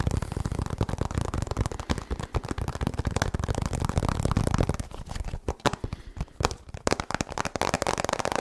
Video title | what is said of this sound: ASMR Fast Tapping & Rambling - Soft Spoken Male Voice | has a lot more of that Hollow sound because obviously it is hollow